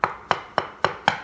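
Five sharp taps on a ceramic kitchen floor tile laid on a concrete slab give short, hollow, woody clicks that center in the mids and die away almost instantly. The tile is debonded and sounds hollow because water coming up through the porous concrete has made the glue and grout give way, so it will come loose.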